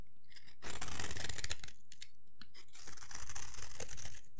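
A metal blade scrapes and shaves a solid rectangular bar of dry yellow soap held in the hand, curling shavings off onto a pile. After a brief quiet start, dense, bright, crunchy rasping runs through the rest of the clip, swelling and easing in loudness with a faint low rumble underneath.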